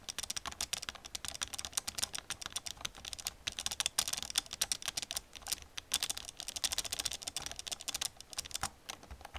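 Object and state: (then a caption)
Plastic computer keyboard being typed on. Long nails tap and type quickly on the keys of an old black plastic computer keyboard. The result is a steady stream of crisp, bright clicks that die away almost at once, with very little low end.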